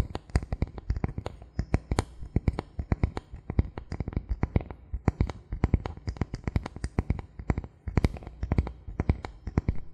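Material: Bamboo.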